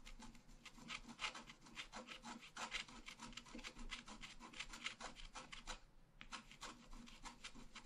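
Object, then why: Black-coated scratch-art paper card scratched with a wooden stylus. A pointed wooden stylus scratches a flat, black-coated scratch-art paper card lying on a table, making dense, short, raspy strokes with a bright, gritty texture. The scratching runs steadily, with a brief pause near the six-second mark before it resumes.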